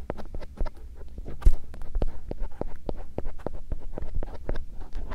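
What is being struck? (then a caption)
Silicone ear shell of a binaural microphone. A bamboo earpick gently scratches near the canal opening of a silicone ear shell on a binaural microphone. The result is a close, soft stream of short scratching and tapping sounds over a low rumble, with one brief, louder brushing burst about one and a half seconds in.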